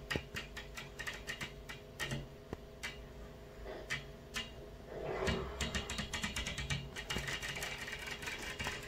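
Long fingernails of both hands tap rapidly on a large, flat glass hotel window pane from outside, making sharp, brief clicks with some scratching across the glass. The taps come in quick bursts and grow denser toward the end, over a steady low hum.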